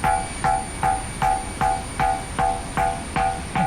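A stone boulder known as the bell rock at Manipara, a lithophonic rock, is struck with a stone ten times at a steady pace to test it. Each strike gives a sharp click followed by a clear ringing tone near 770 Hz that fades within about two-thirds of a second. It rings, though a little lower than the perfect bell sound it gave on an earlier visit.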